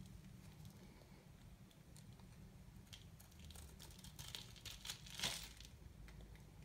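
A metal knife shaves and scrapes the face of a new, embossed, hard, dry white soap bar held in the hand, cutting off crumbly flakes. Soft, dry crinkly scraping strokes build into brighter, sharper crackles near the end over a low steady hum.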